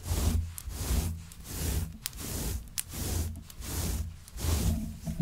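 A hand with long nails scratches back and forth through the pile of a grey, shaggy synthetic faux fur rug. The scratching comes in repeated, rhythmic swells of dense, bright rustling over a low, soft rumble, with a few short, sharp ticks between strokes.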